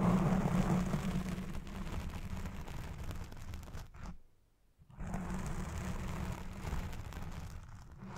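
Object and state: Foam microphone windscreen being scratched.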